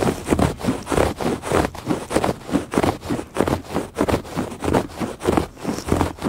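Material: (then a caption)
Woven fabric. Fingertips and nails make quick scratches across the weave of a woven fabric rug. The result is a steady run of short, dry, rasping strokes with a soft, low-mid body and little ring after each pass.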